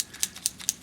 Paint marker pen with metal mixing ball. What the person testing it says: you hear the ball bearing in there that stirs up the paint